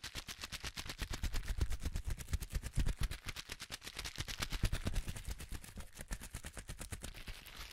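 Both hands squeeze and twist a palm-sized piece of clear plastic bubble wrap with large air-filled bubbles, popping and crunching them. A rapid, irregular stream of sharp, bright pops and crackles rides over a low thumping body, with louder bursts in the middle before the popping thins out toward the end.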